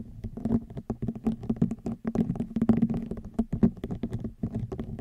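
A woven rattan wicker basket is scratched and tapped with long nails for about five seconds. The result is a dense, dry patter of quick, light taps and rasping scratches with a muffled, woody tone centred low-mid around 230 Hz, little brightness, and almost no ring.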